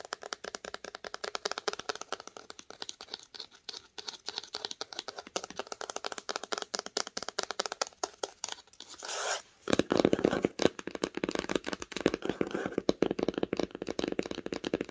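Fingernails tap rapidly on the spine of a red cloth-bound hardcover book while it is held, giving quick, dry, light clicks. After a brief soft brushing sound, the tapping moves to the cover as the book lies flat, and the taps become louder and fuller with a muted low-mid thump.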